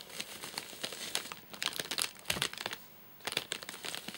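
Fingertips tap the top of a full, flat rectangular Soft Nougat bar in a crinkly plastic wrapper as it is turned to show its side. Quick, bright crinkles and light taps come in dense bursts, with a brief quiet pause near the three-second mark before the crinkling resumes.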